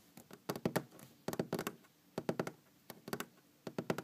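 Long green-painted fingernails tap on a large, solid wooden tabletop. Irregular clusters of quick, dull taps and knocks are heard, each with a woody tone around 234 Hz and a short decay with almost no ring.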